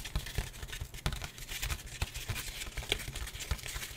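A thin, flat, white printed disposable paper plate is held up and scratched and tapped with the fingertips. The result is a steady, dry, crinkly scratching with a bright texture, broken by soft, dull taps that stop almost instantly with no ring.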